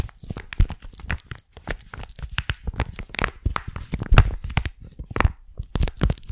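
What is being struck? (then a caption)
Flexible plastic map sleeve over paper. A folded paper hiking map inside a flat, thin, clear flexible plastic sleeve is held close to the mic and crinkled and rubbed with long painted nails and fingertips. The result is a dense run of short, sharp crackles and crinkly rustles with a heavy low thump underneath and bright spikes on the louder pops, each dying away almost instantly.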